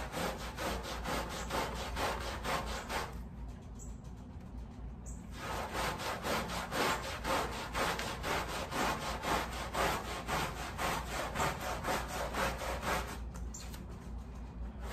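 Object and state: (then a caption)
Woven pile area rug being scrubbed. A wet, sudsy, patterned woven pile area rug lying on a plastic sheet is scrubbed with a wooden-handled black bristle brush. Steady, rhythmic rasping strokes, about two per second, carry a bright, hissy texture over a low constant hum. The scrubbing briefly softens and thins out twice, around the 3–5 second mark and near the end.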